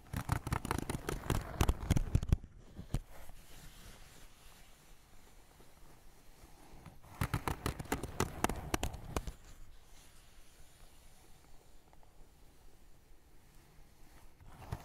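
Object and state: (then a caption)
Paper sketchbook. Fingertips and short nails of both hands tap and scratch the paper surface of a small spiral-bound sketchbook, a solid stack of pages with a pencil drawing, lying on a wooden desk. Two bursts of rapid, dry, low-heavy taps come at the start and in the middle, with softer scratching and brushing on the paper in between.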